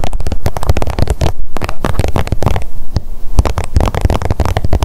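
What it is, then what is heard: Plastic squeeze tube tapped with nails. Long nails tap rapidly on the surface of a blue plastic squeeze tube of sunscreen held in the hands. The dense run of short, dry clicks and soft hollow thumps carries a heavy low-end thud, and each tap dies away almost instantly.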